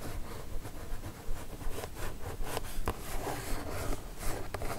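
Long nails tap and scratch across the top of a kraft cardboard mailer box, making a steady, dry, rough scraping texture. Low thuds run underneath, and brief bright clicky taps pop out at irregular moments.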